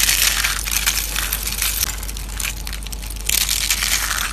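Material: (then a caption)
Soap. A pile of thin, dried orange soap curls on a white plate is crushed and crumbled by fingertips, the hollow curled shavings breaking apart. The result is a dense, continuous bright crackling and crunching with many quick brittle snaps. It swells louder near the start and again toward the end.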